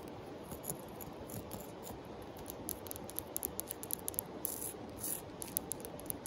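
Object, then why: Flat sandstone rock. Long acrylic nails scratch and tap the rough-grained surface of a palm-sized, solid, flat tan sandstone river rock held in a hand and resting on a pile of larger river rocks. A steady, soft gritty scraping runs throughout, and sharp, bright clicking taps grow more frequent in the second half.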